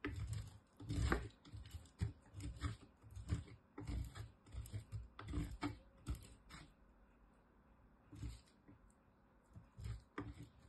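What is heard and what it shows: A small solid green bar of soap, held with long nails, is grated on a metal box grater, and green soap shavings fall onto the table. The sound is a series of short, rough, mostly low scraping strokes with bright rasp on the harder passes. The strokes pause briefly near the end before a few more.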